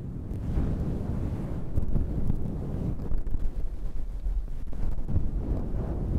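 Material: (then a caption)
Synthetic fur. Long red nails scratch a fluffy faux-fur microphone windscreen on a handheld black recorder. The result is a steady, deep, muffled rumble with soft rustling bursts, almost all of it low in pitch with no bright content.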